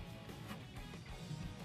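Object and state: Nothing is struck.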